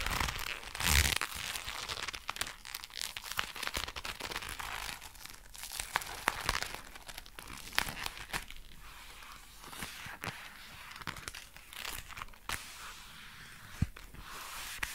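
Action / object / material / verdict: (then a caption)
scrape / leather gloves / leather / none. Dark brown leather gloves worn on both hands are rubbed together and the leather is squeezed, producing a steady bright creaking and crinkling. Sharp, quick snaps and clicks pop out of the texture throughout, with a louder burst near the start.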